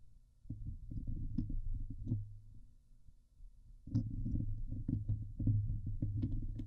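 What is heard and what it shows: Long nails scratch the hollow steel mesh grille of a Blue Yeti microphone, first with one hand and then with both. The result is a dense, low, rumbling scrape with a steady low hum and occasional bright ticks. After a quieter pause midway, the scratching returns louder and busier.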